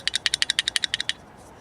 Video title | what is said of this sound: 382- This little part is 50$ and no longer AVAILABLE... | you hear that okay there's something shaking inside there